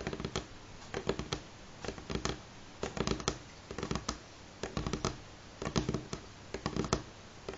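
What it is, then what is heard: Wooden table top. Fingernails of both hands tap on the solid, light wooden surface of a table top in short, irregular bursts of quick clicks separated by brief pauses. Each tap is dry and clipped with almost no ring, its tone centred low with a faint bright edge over a quiet background hiss.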